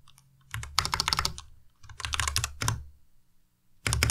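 Fingertips type in quick bursts on a white Ducky Miya Pro tenkeyless mechanical keyboard with plastic keycaps and linear switches. Rapid, bright clacking keystrokes carry a low thocky body and decay almost instantly, with short pauses between three flurries of typing and a final flurry at the end.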